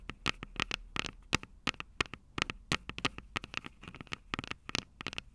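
Long purple nails tap and scratch the metal microphone capsules of an upright Tascam DR-05 recorder. The result is a rapid, irregular series of sharp, bright clicks and taps with faint scratchy rustling between them. Each tap dies away almost instantly.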